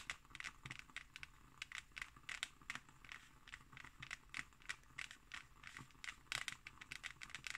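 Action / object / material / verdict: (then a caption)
scrape / embossed hardcover book cover / board / none. Fingernails scratch and tap across the textured surface of a closed hardcover book with an embossed cover. Dense, bright, crisp scratches and quick taps follow one another with very little low-end body.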